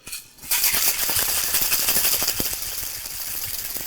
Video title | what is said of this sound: Modern Classic: Artichoke Hold | shake it up until you hear most of that ice gone